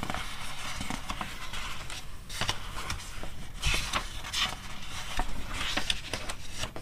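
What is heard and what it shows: Long red nails and fingertips rub and scratch the printed pages of an open glossy paper magazine, and the pages are flipped between spreads. The sound is a steady, crackly, bright papery scraping with soft low rustle underneath. Louder swishes come through as the pages turn.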